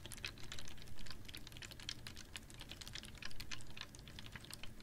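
Long nails tap rapidly on a clear, ribbed PET water bottle holding a little water, held upright in one hand. The taps make a steady stream of quick, light, bright clicks with very short ring, over a soft low hum. The tapping swells slightly louder at a few points.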